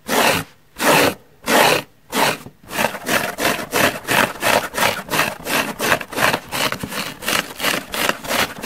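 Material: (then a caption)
Foam. Long nails scratch the top and edge of a large, soft, holey yellow porous foam car sponge. Five slow, broad raspy strokes give way to a quicker, steady run of about 21 strokes in all. Each dry, bright scrape stops abruptly with almost no ring.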